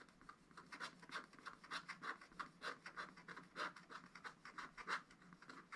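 A wooden stylus scratches and rubs lines into a black wax-coated scratch-art paper page in a spiral pad, working over the lower part of a bird picture. Quiet, continuous rasping scratches come in short uneven strokes, each a dry, bright burst centred in the upper midrange with very little low end.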